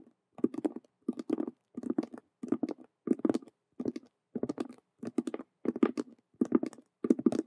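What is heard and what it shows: Long nails on both hands tap and scratch fast over a hollow faux leather Rubik's cube handbag with stitched colored vinyl squares. Eleven quick bursts of dry, hollow patter, each separated by a short silence, have a dull low-mid body and brief bright scratchy clicks on top.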